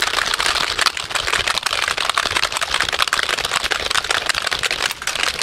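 A full-size black plastic computer keyboard is held up in both hands close to the microphone while fingertips rapidly tap and rattle its keys and shake it. The result is a dense, continuous clatter of fast, bright, dry plastic clicks with almost no low end, holding a steady level for the whole clip.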